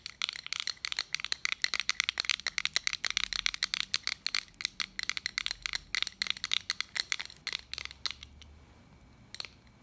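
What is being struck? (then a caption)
Small metal button badge tapped with long nails. Long acrylic nails rapidly tap and scratch the domed face of a small round metal button badge reading "Peer Mentor," held between the fingers. A dense run of sharp, bright clicks with almost no ring and no low end thins out to a few scattered taps near the end.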